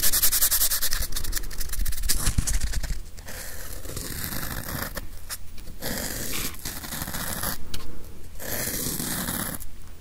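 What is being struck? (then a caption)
Plastic whiteboard eraser with felt pad. A small grey hand-sized whiteboard eraser with a hard plastic body and a felt pad is held close to the mic and scratched and rubbed with fingertips and nails. The result is a dense, uneven stream of bright scratching and rubbing over a steady low rumble, with brief dips and pauses between strokes.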